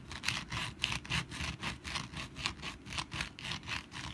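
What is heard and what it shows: Long black nails scratch the textured surface of a rust-brown papier-mache pumpkin decoration that rests on a mat and is held in the hands. A steady series of bright, dry scratching strokes repeats about twice per second, each a short rasp over a soft low rumble.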